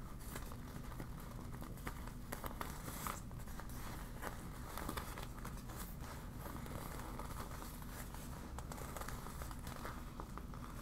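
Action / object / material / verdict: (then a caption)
scrape / deflated PVC vinyl beach ball / PVC vinyl / none. A deflated yellow PVC vinyl beach ball with printed warning text is crumpled and scratched with long black nails. Steady, quiet crinkling and crackling plastic runs throughout, broken by brief sharp scratches and crunches over a dense low rumble.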